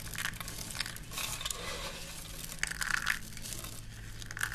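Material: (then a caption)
Soap. Handfuls of thin, brittle green dry soap shavings are squeezed and crushed between both hands over a pile on a black surface. A steady, dense crunching and crinkling runs throughout, bright and crisp, over a faint low hum. It swells with sharper crackles near the three-second mark and a final snap at the end.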